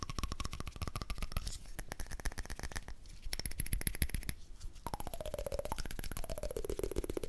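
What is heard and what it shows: A small, round, shiny silver candle lid, thin and hollow, is held close and tapped quickly with fingertips and nails. The result is a dense run of short, dull, low taps with almost no ring, plus faint tones that glide downward near the end.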